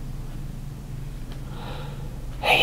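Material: Nothing is struck.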